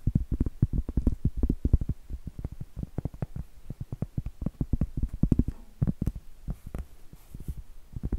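A large, round, solid cork board held upright is tapped and scratched with long blue acrylic nails. The result is a rapid, uneven stream of dull, low, muffled thuds that die away almost instantly, with faint brief scratchy rustles between some of the taps.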